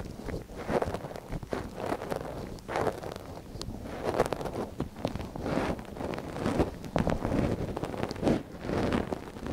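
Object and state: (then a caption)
Silicone microphone ear being scratched. A thin wooden ear pick scratches inside the canal of a small, hollow white silicone dummy ear on a binaural microphone, held by a gloved hand. Close, dry scraping and rustling come in quick bursts, mostly low and mid in tone with little high content.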